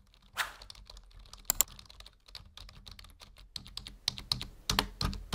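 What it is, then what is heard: Plastic computer keyboard. Fingertips of both hands type on a full-size black plastic membrane keyboard resting on a wooden desk. Quick, bright key taps land in an uneven rhythm, each dying away almost at once, with a few louder presses standing out. A faint low hum runs underneath throughout.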